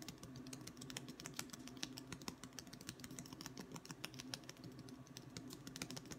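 A long, thin, solid wooden ruler is held in one hand and tapped along its face with the fingertips of the other hand, its far end possibly resting on a wooden table. A rapid, uneven stream of light, dry taps gives bright, short clicks over a steady low woody tone, much like fast typing on a keyboard.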